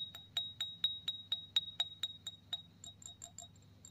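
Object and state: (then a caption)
Cut glass tumbler. Fingernails tap the rim and sides of an empty, clear, embossed cut-glass drinking tumbler held in the hand. The result is a steady run of quick, bright glassy clinks, each ringing briefly at about 3.8 kHz, with the later taps growing softer and less even.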